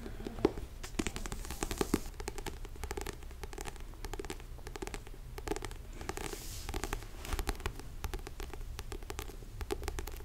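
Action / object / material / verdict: tap / paperback book with paper cover / paper / none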